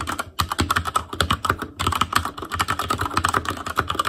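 Fingertips type continuously on the plastic keycaps of a black Asus Claymore Core plastic mechanical keyboard. Rapid, overlapping clicky keystrokes with short, bright clacks and a low thock run through the clip, broken by two brief pauses.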